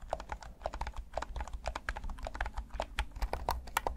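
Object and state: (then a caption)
Plastic game controller buttons clicking. Thumbs rapidly click the buttons and sticks of a hand-sized, hollow, midnight black plastic PS5 DualSense controller. The result is a dense, irregular stream of short, dry plastic clicks centered in the mid range over a faint low rumble.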